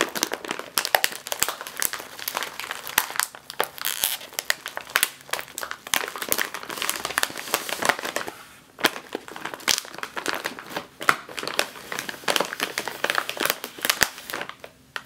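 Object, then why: Metallized plastic snack bag. A sealed metallized foil chip bag is squeezed, then tapped with the fingertips and nails. It gives dense, bright crinkling and sharp crackles with almost no low end, followed by quick, dry taps that die away almost instantly.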